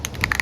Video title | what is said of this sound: CELICA HEADLIGHT RESTORATION - EPISODE - 16 | till you can hear the ball rattle inside